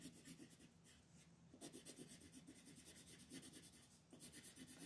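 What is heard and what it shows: A teal colored pencil scratches and rubs over small outlined areas of a thin mandala coloring sheet lying on a table. It makes a quiet run of quick, papery back-and-forth strokes with bright, hissy scratching. There are brief softer pauses around the one-second and four-second marks before the rapid coloring strokes resume.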